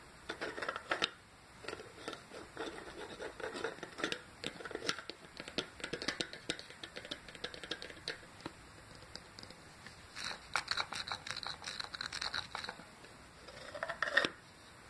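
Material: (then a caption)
Ceramic. Medium-length painted nails scratch and rub around the inside rim and wall of a small, hollow, empty ceramic planter shaped like a hedgehog with a brown textured body. The result is a dense run of quick, dry, bright scratches with almost no low end, broken by brief pauses and ending in a louder rub.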